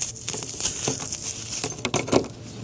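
A brittle, carbonized wooden egg coated with copper citrate is dropped and clinks. It makes a series of light, bright, glassy clicks and patters with very little ring, the sharpest clinks near the end.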